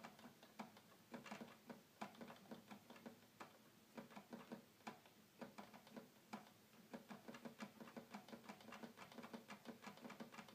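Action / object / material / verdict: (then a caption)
tap / plastic toy keyboard keys / plastic / none. Fingertips quickly tap the keys of a hollow red plastic toy keyboard, producing a rapid, uneven run of short, dry clicks at a quiet level. Each click is sharp and brief with a hollow low-mid body and a little bright edge, dying away almost at once.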